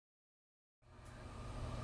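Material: Nothing is struck.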